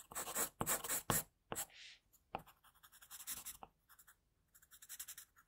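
An HB wooden pencil held in the fingers draws and shades a face on a flat white sheet of drawing paper, its graphite tip scratching the surface. A series of dry, bright scratchy strokes comes in uneven bursts, some longer shading passes and some short quick marks, with brief quiet gaps between them.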